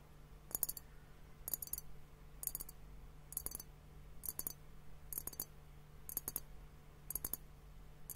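A clear, hollow glass hourglass liquid timer filled with pink liquid and foam is held in both hands and tapped with fingertips and nails. Nine evenly spaced clusters of quick, bright, dry clicks are heard, each a few taps that stop almost at once, over a faint steady low hum.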